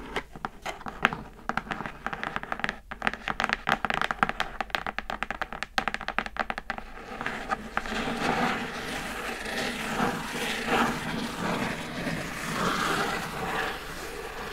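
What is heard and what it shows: Long acrylic nails tap rapidly on the lid of a closed, hollow, brown printed cardboard Glossybox gift box, making a dense run of sharp, dry clicks for about seven seconds. The tapping then gives way to steady scratching across the lid, a continuous bright, rasping scrape that rises and falls until the end.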